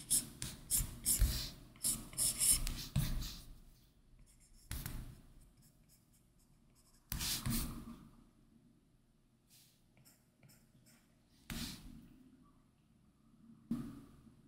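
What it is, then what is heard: Stylus sketching on matte-filmed tablet glass. The hard plastic tip of an Apple Pencil sketches in short strokes on a large 12.9-inch iPad Pro lying flat, its glass screen covered with a matte, paper-textured Paperlike plastic film, with occasional fingertip touches. A quick run of dry, scratchy strokes with a bright rasp fills the first few seconds, then single scratches come at spaced intervals over near silence.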